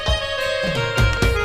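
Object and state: Nothing is struck.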